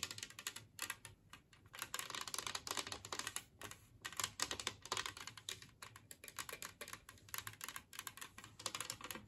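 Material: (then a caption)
Ceramic. Long nails and fingertips tap rapidly across a large, flat, green glazed ceramic Christmas tree plate, shaped like a tree, lying empty on a table. The result is dense, bright, clicky taps that die away almost instantly, with little low end and an uneven, pattering rhythm.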